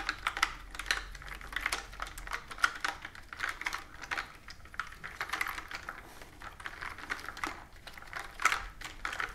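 A plastic computer keyboard with round keys is typed on, and its keys are tapped with long nails. The result is a steady, uneven stream of quick, light plastic clicks and taps that are bright and crisp, each dying away almost instantly, with a few louder taps standing out.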